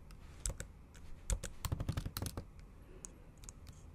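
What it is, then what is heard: Laptop keyboard with plastic keys. Long acrylic nail tips type fast on a MacBook Pro's black plastic keys set in an aluminum body, typing in Japanese. The result is an uneven run of sharp, light clicks and taps with bright tips and a soft low thump beneath, each dying away almost instantly.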